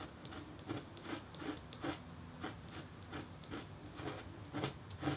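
A red-handled metal engraving stylus scratches fine lines into a flat, thin, solid black-coated copper-foil scratch-art board partly covered by white paper, with a hand resting on the paper. Short, quiet, dry rasping strokes repeat in an irregular rhythm, each a bright scratchy burst with a faint low hum underneath.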